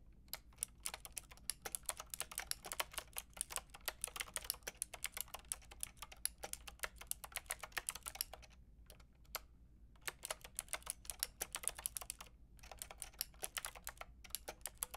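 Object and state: Plastic mechanical keyboard being typed on.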